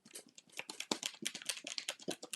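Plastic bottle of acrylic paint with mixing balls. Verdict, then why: Loose. A plastic bottle of acrylic paint containing mixing balls is shaken after balls that had been stuck at the top were freed by covering the opening with a napkin and shaking them out. The balls now rattle freely in a quick series of about 14 dry, bright clicks with almost no ring. The free rattle shows the paint has loosened up and is not sticky.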